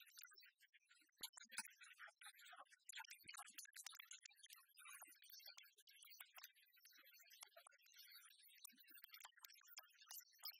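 A large, copper-coloured solid metal penny replica is tapped with fingernails while lying on a wooden table, then held up and tapped and scratched on its Lincoln face. The result is a fast, dense stream of quiet, bright, dry clicks and crisp scratching with almost no ring and no low end.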